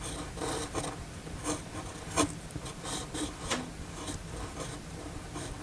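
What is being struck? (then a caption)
Steel pen nib on paper sheet. The steel nib of a red fountain pen writes in cursive on a flat white paper sheet. It makes a continuous dry scratching with short, bright rasping strokes over a soft low rumble. The loudest stroke comes just past two seconds.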